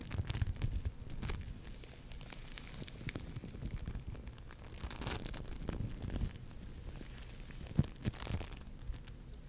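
An orange lump of foam bead clay (floam) is squeezed and scratched with long nails close to the microphone. The result is a continuous, quiet stream of crinkling, crackling and tearing-like crunches with a heavy low-end thump, broken by a few sharper pops.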